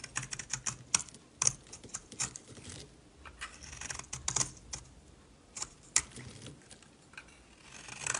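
A solid orange-yellow bar of soap held in the palm is shaved with a metal utility knife blade, and yellow soap curls fall off. Quick, crisp scraping and crackling strokes are heard in irregular bursts. The sound is bright and dry, with almost no low end and no ring.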